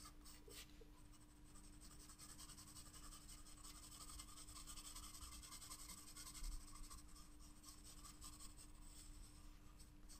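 A wooden graphite pencil shades a paper sketchbook page resting on a table in quick, repeated scratching strokes. The result is a continuous, quiet, bright scratchy rasp over a faint steady low hum.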